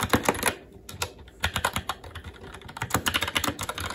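Fast, continuous two-handed fingertip typing on a SteelSeries Apex 7 TKL mechanical keyboard with plastic keycaps on a metal top plate and Red linear switches. Quick, bright plastic clacks with a light low thud beneath them patter in uneven bursts, with a brief lull about a second in before the typing picks back up.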